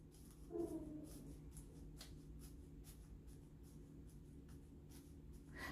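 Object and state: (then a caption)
Dry orchid potting medium. Light pressing on the top of a phalaenopsis orchid's moss-and-bark potting medium in its pot gives a soft, dry, crunchy crackling, with faint brittle ticks over a low background hum. The crackle means the medium is dry and it is time to water.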